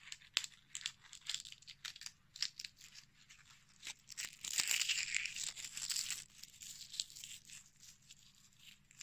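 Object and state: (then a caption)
Dried rose bud, dry and brittle. A small, dark red dried rose bud is held in the hands while its petals are pulled, crumbled and rubbed between the fingertips and short nails. The result is quiet, dry, crackly tearing and crunching in bright, high-pitched bursts that come at an irregular pace. The sound grows denser and louder for a couple of seconds midway through.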